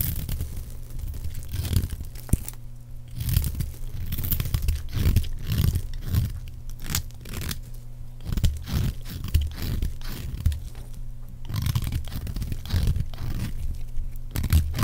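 A metal blade scrapes and cuts cubes and shavings off a solid, palm-sized green oval bar of dry soap held in the hand. Repeated dry, crunchy scraping and cutting strokes are heard, deep and thumpy with short bright crackles on top, as shavings and cubes come away from the bar.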